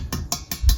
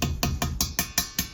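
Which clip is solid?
The first.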